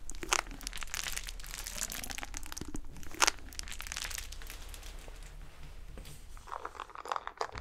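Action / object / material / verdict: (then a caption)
scrape / plastic corrugated tube / plastic / none. A hollow, ribbed, collapsible black plastic corrugated tube about forearm length is held in both hands and squeezed, compressed and stretched close to the microphone while the fingers rub its ridges. It makes dense, crunchy crinkling and rapid ridged clicks, with bright crackling bursts near the start, mid-clip and end over a steady low rumble.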